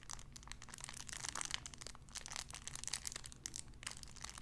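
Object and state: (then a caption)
Cellophane wrapper. A clear cellophane wrapper around a small sun-shaped figure is squeezed and crinkled, giving a dense run of sharp, bright crackles and snaps. The crinkling keeps on for the whole clip, swelling in places, over a faint low hum.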